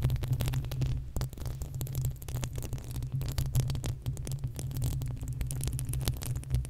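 Long acrylic nails on both hands scratch the uncovered, hollow metal mesh grille of a desktop condenser microphone. The result is a dense, continuous rumbling scrape dominated by deep low-end boom around 130 Hz, with rapid overlapping scratches and faint bright clicks on top.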